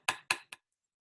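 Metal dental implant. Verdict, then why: Stable. A metal dental implant is tapped three times with the handle of a dental mirror, giving short, dry, bright metallic clicks that die away almost at once; the third tap is softer. The solid sound marks a good, stable implant, since the tap carries through to the bone.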